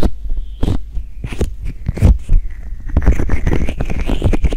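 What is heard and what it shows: Fingertips and nails tap and rub the hollow, white silicone ear-shaped pieces on both sides of a black 3Dio binaural microphone. Close, deep thumps and boomy rumbles mix with soft scratchy rustles in quick, uneven bursts that grow denser toward the end.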